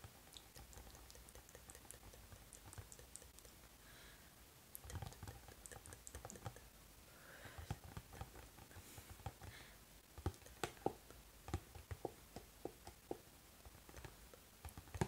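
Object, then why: Cardboard snack box. Fingertips and nails tap rapidly on the back of a cardboard Pocky box held steady in both hands. Soft, dry clicks patter in quick succession with almost no ring, growing into sharper, louder taps in the second half.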